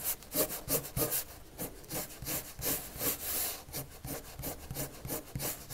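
A red colored pencil makes repeated shading strokes across a white paper sheet lying flat, scratching the paper surface. About fifteen quick, bright, raspy strokes come at a steady back-and-forth pace of roughly three per second, each a short dry scratch with no ring.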